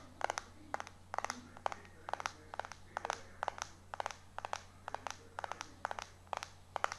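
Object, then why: Glass-backed phone. Fingertips and short nails tap and scratch fast across the glass back of a small, solid white iPhone 4 held in one hand. The result is a quick, uneven run of sharp, dry clicks in tight bursts, bright and clacky with almost no ring. A faint steady low hum sits underneath.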